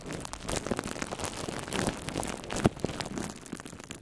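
Fingertips of both hands crinkle and scratch thin, hollow, air-filled plastic bubble wrap wrapped around a red microphone. The result is a continuous, dense crackle and scratchy rustle with bright, brittle clicks, with one sharper snap standing out near the middle of the clip.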